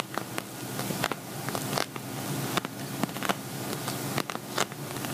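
Fingernails tap and scratch on an empty, hollow silver glitter vinyl zippered cosmetic bag. A steady dry scratching hiss runs throughout, broken by sharp, short clicking taps with a faint low buzzing undertone.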